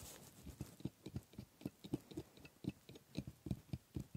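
A steel scaler scrapes over the hard teeth of a plastic dental model, making around eighteen short, quiet, dull clicks and taps in an uneven rhythm. The strokes are mostly low and woody, with only faint bright ticks and almost no ring after each one.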